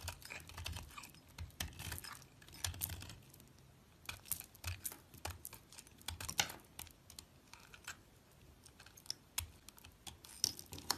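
A small solid piece of yellow and green soap, held by fingers with long lilac nails, is shaved with a metal utility blade. A quick, uneven series of short, crisp, bright scrapes and cuts follows, each dying off instantly, with soft low rustling underneath at a quiet level.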